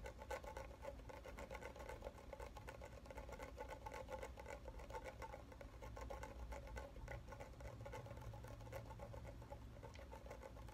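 A filled, medium red plastic shampoo bottle with a printed label is held tilted in one hand while the fingernails of the other hand tap rapidly on its bottom. The result is a quick, uneven patter of short, dull taps with a hollow tone around 540 Hz over a low rumble, and each tap dies away almost at once.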